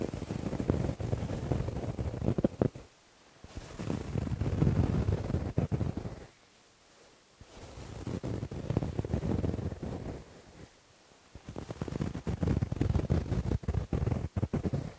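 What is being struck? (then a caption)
Thin cotton t-shirt worn over the chest. Fingernails of both hands scratch a white printed cotton t-shirt being worn, over the thin fabric on the chest. Four bursts of dense, rapid, uneven scratching are separated by short silences. The sound is muffled and mostly low and rumbly, with little high-frequency content.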